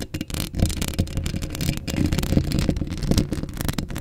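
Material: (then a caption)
Steel mesh. Long acrylic nails scratch a hollow steel mesh microphone grille up close, producing a steady stream of dense scratchy crackles over a heavy low, boomy rumble. Faint sounds that may be speech come through beneath the scratching.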